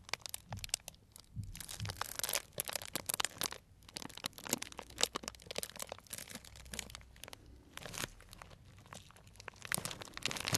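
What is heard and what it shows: A small, tied, clear plastic cellophane bag full of dried tea pieces is squeezed with the fingers. It gives a steady stream of bright, crisp crunching and crinkling crackles that come in dense, short bursts. The sound stays quiet and close for about ten seconds.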